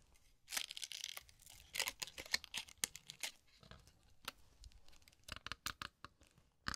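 A small paper cocktail umbrella on a thin wooden stick is held in both hands by the fingertips, and its folded paper canopy is opened and crinkled over a zen sand tray. Dry, bright crinkling and crackling rustles arrive in quick bursts with quiet gaps. Each crackle is short and stops almost at once, with little low end.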